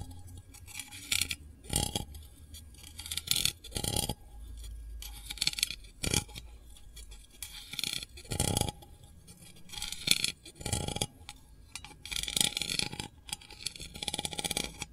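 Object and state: Metal candle tin lid tapped with fingernail.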